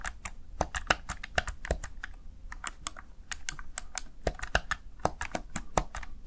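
Fingertips with short nails press and tap the backlit plastic keys of a small Razer Tartarus Chroma gaming keypad. The result is a rapid, uneven run of sharp, dry clicks with bright tops over a soft low background rumble.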